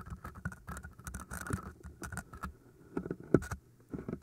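Long nails scratch the sides of two solid green floral foam cylinders in quick, uneven bursts. The scratching sounds dry and crackly, with a soft, muffled low body and very little brightness. Each stroke dies away almost instantly, and a single sharper scrape stands out near the end.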